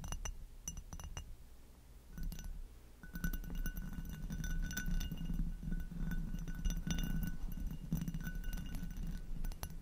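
Long acrylic nails tap the foot and stem of an inverted, hollow amber hobnail glass goblet, then tap and scratch its textured bowl. Quick, uneven glassy clinks ring briefly with bright overtones over a steady low rumble. The sound gets busier and denser once the nails reach the bowl.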